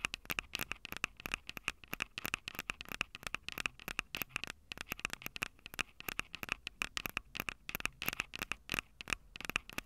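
Long purple nails rapidly tap and scratch the two metal mic capsule heads of a small Tascam DR-05 handheld recorder with a plastic body. Dense, sharp, bright clicks with a steady ringing tone around 2.6 kHz fire across the clip over faint scratchy noise. Each tick dies away almost instantly.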